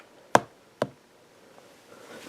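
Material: Aluminium.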